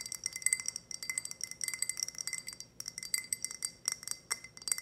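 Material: Glass.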